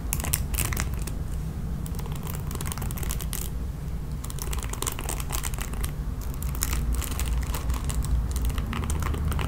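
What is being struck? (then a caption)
Plastic paddle hairbrush with bristles. Long nails rake across the bristles of a red plastic paddle hairbrush, producing irregular bursts of crisp, bright crackling and scratching, roughly two per second. A steady low rumble runs underneath throughout.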